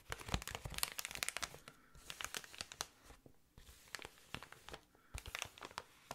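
Long nails scratch and tap along the tubes of an inflated clear plastic air column cushion. Dense, bright crinkling and sharp clicking come in quick bursts, separated by a few brief quiet gaps. Each tap dies away almost instantly.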